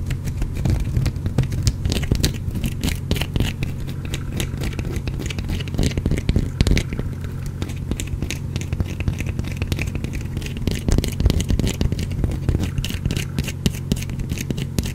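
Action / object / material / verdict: scrape / bar of soap / soap / none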